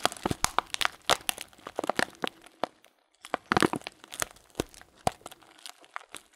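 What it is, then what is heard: Plastic bag of loose dried fruit tea. Thumbs press and crinkle a sealed, transparent plastic bag filled with dried fruit tea. Sharp, bright crinkles and crackles come in dense bursts, with a brief quiet gap near the middle before the crunching resumes. Each crackle stops almost at once, with very little low end.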